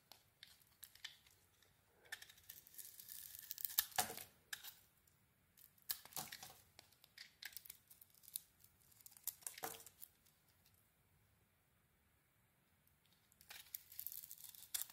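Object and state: Bar of soap being shaved.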